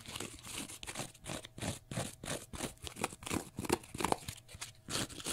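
Fingernails scratch quickly at a small, pale green, porous cellulose sponge block. They make a steady run of rough, crackly scraping strokes, about three a second but unevenly spaced. Each stroke is a short, dry burst with a bright, hissy top and no ring after it.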